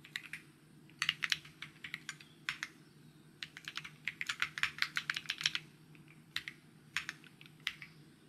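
Fingertips type steadily on a white mechanical keyboard with plastic keycaps, about 31 short, bright clacks centered near 3 kHz. The keystrokes come in quick bursts separated by brief pauses, over a faint, steady low hum.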